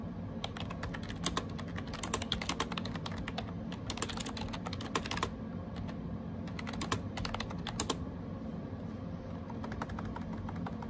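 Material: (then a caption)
Plastic. Fingertips type rapidly on the round plastic keycaps of a gray AJAZZ 308i wireless Bluetooth keyboard, producing a steady stream of short, bright clicky taps with a few faster bursts. A low, constant hum sits underneath the quick-decaying key clicks throughout.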